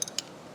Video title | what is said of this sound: Vertical Mill | If you notice this parallel is moving around freely in here.